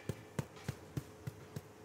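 The bottom of a freshly baked, well-coloured bread loaf is tapped six times at an even pace, each tap a short, deep thud around 140 Hz. The deep, bass-drum-like sound rather than a snare-like one shows the loaf is baked through and done, ready to rest for 15 minutes.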